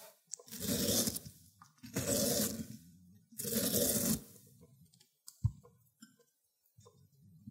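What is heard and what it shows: A cucumber is rubbed across a white ceramic grater plate, its juicy pulp dripping, in three long, wet, rasping grating strokes with a bright, hissy edge. Small soft clicks and wet taps follow, including one sharper click, before the sound fades quiet.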